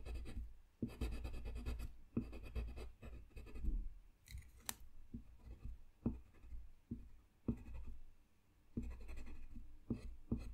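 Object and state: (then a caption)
Colored pencil drawing on paper. A blue colored pencil makes slow scratching strokes across a thin, solid sheet of flat white drawing paper lying on a desk. The quiet, dry scratching comes in bursts of strokes separated by brief pauses, with a soft low-heavy body and little high brightness.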